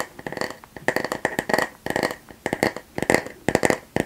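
The solid back of a flat, light bamboo paddle hairbrush, held in both hands close to the mic, is tapped and scratched with long nails and fingertips. It makes a rapid, uneven series of short, dry, hollow clicks and taps, with a woody tone around 500 Hz and a ringing band near 2 kHz. Soft scratching fills the gaps between the taps.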